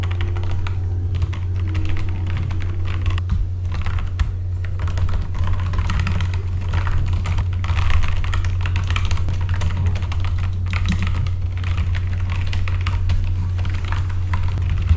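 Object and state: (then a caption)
Mechanical keyboard with plastic keycaps. Both hands type with their fingertips on a full-size backlit mechanical computer keyboard with plastic keycaps. Quick clicky keystrokes run steadily through the whole clip over a constant low hum. The clacks sit in the mid and upper range while the drone carries most of the energy.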